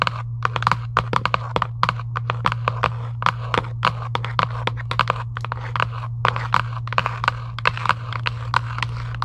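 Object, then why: Cardboard game box. Long nails scratch and tap the printed lid of a giant UNO cardboard game box lying flat, giving about 45 quick, dry taps with short scratchy crunches between them. A steady low hum runs underneath the whole time.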